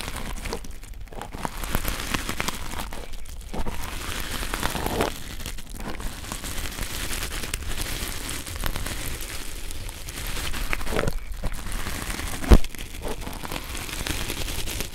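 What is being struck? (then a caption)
Nylon fiber scouring pad. A springy red nylon scouring pad of tangled synthetic fiber is pressed and squeezed between two pencil microphones. It gives a steady, dense crinkly scratching with a low rumbling body, swelling in places, and one sharp louder crackle near the end.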